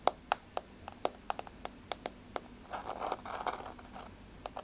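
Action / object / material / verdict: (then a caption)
tap / wooden floor / wood / none. Long blue-painted fingernails of both hands tap and scratch a large, solid, flat wood-grain floor, possibly laminate or parquet. Quick, irregular, sharp clicks with a bright edge ring around 700 Hz and stop almost instantly. Midway they give way to a stretch of dry, rustly scratching before a few final taps.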